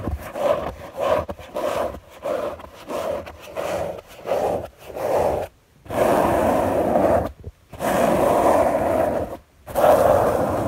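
Long natural fingernails of one hand scratch a soft, thin white fabric sheet spread flat on a bed. A run of quick, raspy scratching strokes gives way to three longer, sustained scratches, with a dry midrange texture centered around 600 Hz and brief silent gaps between strokes.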